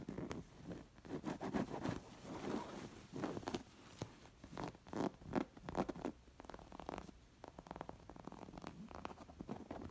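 Long nails scratch and trace over the raised embroidered bird and leaves on a square, stuffed, coral linen-like throw pillow. The sound is a quiet series of soft, dry rasping strokes that come in uneven bursts and carry mostly low-mid texture, with brief pauses between strokes.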